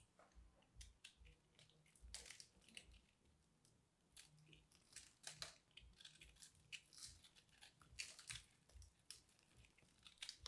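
A small knife cuts into a dried, solid, porous and crumbly purple soap ball about the size of a fist, which is then broken open by hand. Dense, bright crunching and crushing crackles come in quick bursts over faint low thumps, each snap dying away almost at once.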